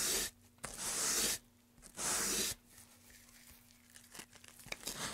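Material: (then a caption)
Pine wood. A gloved hand rubs sandpaper back and forth in the groove of a long, solid, light-wood carved pine tray. Three loud, bright, hissing sanding strokes are heard, followed by softer, intermittent scratching and light scrapes as the paper moves more gently along the groove.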